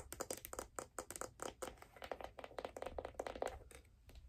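Long dark nails tap quickly on a figure skate held up in the air, striking its brown leather sole and the silver metal plate that holds the steel blade. The result is a quiet, rapid run of short, crisp clicks with a clacky midrange tone near 500 Hz and a bright edge. Each click dies away almost at once.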